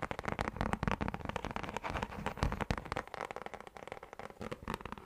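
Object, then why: Round plastic lid. A round orange plastic lid with a textured surface is tapped and scratched with fingertips and nails. A dense, uneven run of short, dry clicks and crackly scrapes follows, each one dying away almost instantly, with a low thump under the louder taps.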